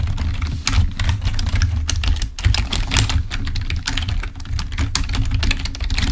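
Both hands type with fingertips on the keys of a full-size black plastic membrane keyboard. A fast, steady stream of short, bright, dry clicks and taps runs throughout. A strong low hum sits underneath.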